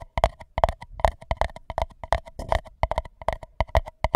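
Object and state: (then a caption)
Paper cup, hollow. Fingertips tap and scratch the outer wall of an empty white paper cup covering a microphone, giving rapid, irregular hollow taps with a resonant tone near 670 Hz. Each tap has a soft low thump and dies out almost instantly, with faint scratchy texture between the hits.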